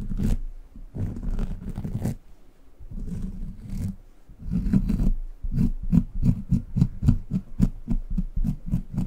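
A small, brown, bumpy, soft and solid rubber squishy dog toy is held next to the microphone and squeezed and scratched with the fingertips. Several longer stretches of dull, low, rubbery scratching come first. These are followed by a quick, steady run of short squishy squeezes and taps with almost no bright top end.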